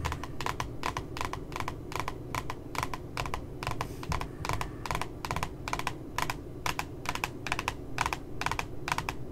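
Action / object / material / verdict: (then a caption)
tap / glossy cardboard notebook cover / cardboard / none. Long nails tap quickly and irregularly on the lower part of the glossy cardboard cover of a spiral notebook with a puppy design. Each tap is a short, dry click with almost no ring, repeating over a steady low background hum.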